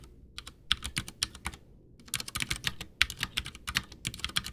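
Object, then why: Plastic mechanical keyboard with tactile switches. Both hands type with fingertips, pressing and tapping keys on a full-size white plastic Ducky One 2 mechanical keyboard with Cherry MX Brown switches, backlit, with a hollow case, resting on a desk. Short, bright, dry clacks come in quick irregular bursts, with a brief pause near the middle before denser typing resumes. Each keystroke cuts off almost instantly, with little low-end weight.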